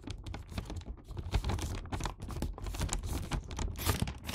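Fingers repeatedly fold and crease the red paper top edge of a filled Santa paper gift bag. The result is a steady run of crisp, crackling paper creases and rustles with soft low thumps underneath.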